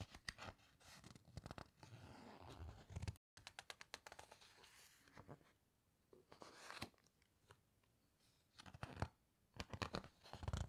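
Fingertips and long nails slide over, squeeze and turn the glossy photo pages of a large open hardcover book, producing quiet crinkling, scratching and soft tearing-like rustles. Short crisp clicks and swishes come in clustered bursts, with a brief silent gap near three seconds and louder page turns toward the end.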